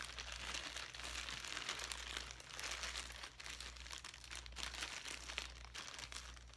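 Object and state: Plastic zip bag with foam pieces.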